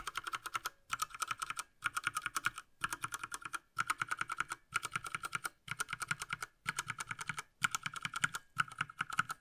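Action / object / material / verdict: tap / plastic mechanical keyboard / plastic / none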